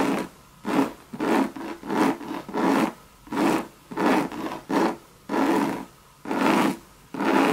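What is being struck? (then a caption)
Coated canvas bucket bag. Long red nails scratch across a hollow Louis Vuitton monogram coated-canvas bucket bag in about ten separate raspy strokes. Each stroke is a dry, hollow scrape with a low-mid body around 280 Hz and a brighter hiss on top. Brief quiet gaps separate the strokes at an uneven pace.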